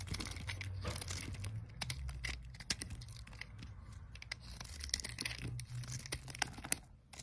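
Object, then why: Olive oil soap bar. A metal utility knife blade shaves flakes and slices off a solid pale green olive oil soap bar held in the hand. Dense, dry scraping and crisp crackling cuts run throughout, with sharp bright clicks over a low steady hum.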